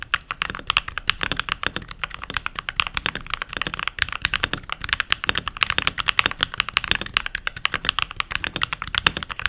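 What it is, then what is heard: Plastic mechanical keyboard. Fingertips with short nails and rings type continuously on a full-size backlit mechanical keyboard with pink plastic keycaps. The result is a steady stream of short, bright plastic clicks and clacks with very little low end.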